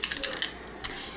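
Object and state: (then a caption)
Foundation bottle with a mixing ball rattling inside. An Urban Decay Naked Skin foundation bottle in shade 3.5, with a mixing ball inside, is shaken. It gives five short, bright clicking rattles of the ball, much like a paint can being shaken, with no ring after each hit.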